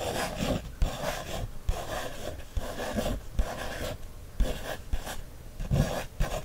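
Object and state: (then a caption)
Paper coloring book page scratched with a wooden stick. A wooden stick traces and scratches over the printed lines on an open page of a paper coloring book. Soft, dry rubbing strokes come in repeated bursts, broken by several short, dull taps that die away almost at once.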